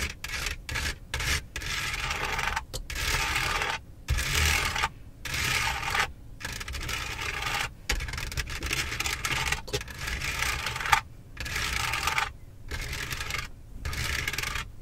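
Long acrylic nails scratch and tap across the roof-mounted overhead light console of a Benz, made of textured dark plastic with buttons and a grille. Bright, raspy scratching comes in bursts separated by short silent gaps, with an occasional sharp tap standing out.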